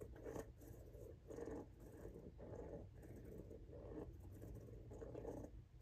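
Fingernails scratch the grooved tread of a pink rubber outsole on a Jordan 1 High "Washed Pink" sneaker held up in the air. Quiet, rough scratching comes in repeated soft bursts, sitting mostly in the low-mid range with a dull, muffled texture and almost no bright edge.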